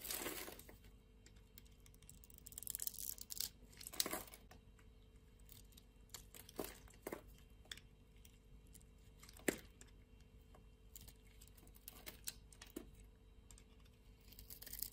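A solid blue soap bar with white stripes, held in a hand with long nails, has its surface scraped and carved with a utility knife blade. Quiet, bright scraping and crisp crunching bursts come in irregular strokes, with short dry cuts and no ring between them.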